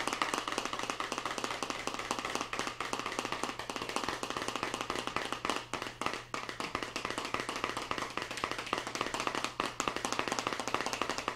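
A small clear plastic deli cup with a lid, filled with blue kinetic sand and held in one hand, is tapped rapidly with fingertips and nails. The result is a dense, continuous stream of short, crisp plastic clicks, centered around 1.2 kHz with bright upper edges, over a faint low hum.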